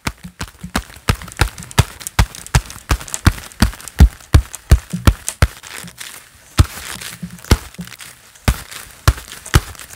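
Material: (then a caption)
Leather. Hands in a pair of black leather gloves clap together in an irregular, fairly quick rhythm. Each clap is a short, dull slap with a bright snap at the attack and almost no ring. Softer leather creaks and rubs fill the gaps between claps.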